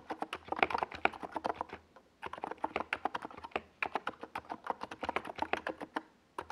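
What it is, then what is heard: Plastic mechanical keyboard being typed on. Fingertips of both hands type fast on a NiZ Plum Atom 68, a compact 68-key plastic mechanical keyboard with a white plastic case and purple and yellow Domikey Gas Attack SA plastic keycaps, resting on a desk pad. A rapid stream of short, crisp, mid-pitched clacks and taps pauses briefly near the two-second mark, resumes in quick bursts, and stops shortly before the end.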